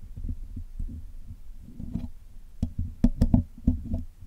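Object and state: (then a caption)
Metal mesh microphone grille being picked. Steel tweezers and a steel pick scratch and pick at the top of the black hollow metal mesh grille of a Blue Yeti microphone while cleaning it. Heard up close, this gives rapid, irregular, dull low thumps and scrapes, with a few louder, sharper clicks and bright ticks toward the end.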